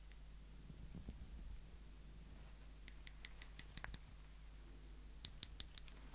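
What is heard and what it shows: Small, slim, solid stainless steel tweezers held up in the fingertips have their tips pinched and clicked together repeatedly. After a quiet stretch with a faint rustle, a quick run of sharp, bright metallic clicks comes, then a second short burst. Each tick dies away almost instantly over a steady low hum.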